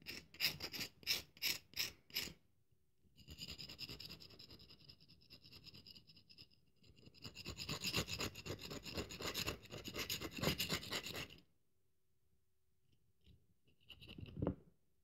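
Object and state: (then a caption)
Dry bar of soap. A solid cream-colored dry bar of soap, held in the palm, has its face scraped with the tines of a yellow-handled metal fork, leaving grooves. Five sharp scrapes open the clip. Longer raspy, bright scratching passes follow, then a pause and a final short scrape.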